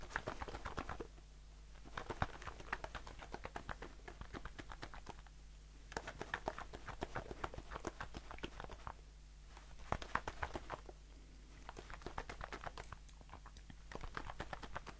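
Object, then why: Aluminium aerosol shaving foam can. Fingertips and nails tap rapidly on a blue aluminium aerosol shaving foam can held in the hand. The result is bursts of short, dry, clicky taps with bright edges, separated by brief pauses, over a steady low hum.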